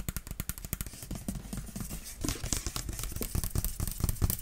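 A clear plastic water bottle with a yellow cap, partly filled with water, is held in one hand and shaken and tilted so the liquid sloshes while long nails touch the bottle. A fast, dense run of short, dull tapping and sloshing sounds with a heavy low end and brief bright clicks continues throughout, growing slightly louder toward the end.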